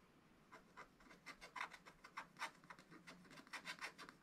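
A wooden stylus scratches and rubs lines into a black wax-coated scratch-art paper page in a spiral pad. It makes a continuous run of short, dry rasping scratches, each strongest around 1 to 2 kHz with bright high hiss. The strokes are quiet and tightly spaced and barely ring at all.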